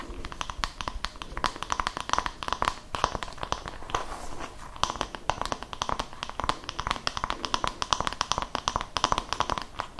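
A palm-sized oval wooden body-massage brush with a cream fabric hand strap is held close to the mic while its flat wooden back is tapped and scratched with long nails and fingertips. The result is a dense, steady stream of crisp, dry clicks and scratchy rasps with a hollow woody tone around 1 kHz and bright edges, each tap stopping almost instantly.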